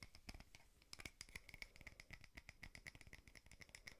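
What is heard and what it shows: Fingernails rapidly tap and scratch a small frosted glass votive holder with a wax candle inside. The result is a quiet, dense run of sharp, bright clicks with a faint glassy ring near 2.3 kHz that dies away almost instantly, mixed with soft scratching between the taps.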